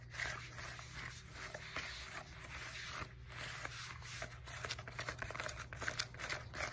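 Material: EVA foam.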